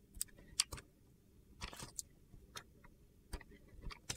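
A metal box-cutter blade carves flakes off the scored surface of a solid, palm-sized pink and blue glitter bar of soap. About nine short, bright, crisp scraping clicks sound against a quiet background, with a longer gritty scrape in the middle.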